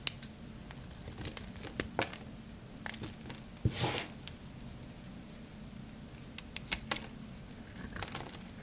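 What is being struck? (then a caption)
Bar of black soap scraped with a metal blade. A metal blade scrapes grooves into a palm-sized, solid, oval dry black soap bar held in the hand, shaving off crunchy flakes. Sharp, bright crackles and short scratchy clicks are heard over a quiet low background, with one longer rasping scrape in the middle.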